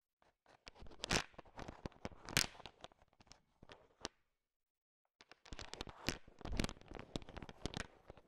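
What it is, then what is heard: Candy-coated chocolate candies being stirred. A thin wooden stick stirs a large pile of small, solid, sugar-shell-coated chocolate M&Ms, making the candies click against each other. Dense bursts of crisp, bright clicking and rattling come in two stretches, separated by about a second of silence in the middle.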